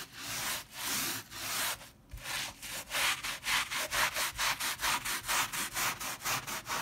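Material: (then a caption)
Fabric. A wet, soap-foamed leopard-print fabric pile rug about the size of a bath mat is scrubbed back and forth with a white plastic bristle dish brush held in one hand. The scratchy, bright, hissing strokes start slow and uneven, then settle into a quicker steady rhythm of roughly two strokes per second.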